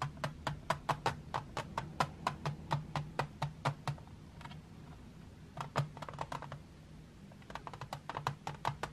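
Long white-painted nails tap and scratch the lid of a closed, flat, printed metal tin of 12 drawing pencils, its hollow case lying on a marble table. Quick, dry clicks with a faint tinny ring around 1 kHz come in fast, uneven bursts, then pause briefly amid soft scratching before another flurry of taps. A steady low hum sits underneath throughout.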